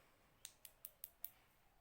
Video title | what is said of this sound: How to Sculpture Acrylic Base/Nails 2020 | you can hear that little clicking that means it's hard and the acrylic and the liquid bond together